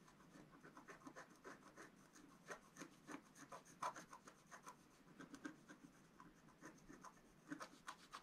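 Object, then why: Black-coated scratch-art card scratched with a wooden stylus. A wooden stylus scratches lines into the coating of a flat, black-coated scratch-art card. Quiet, dry scraping strokes come in quick, uneven bursts, with a papery rasp centred around 1 kHz and faint bright streaks above it.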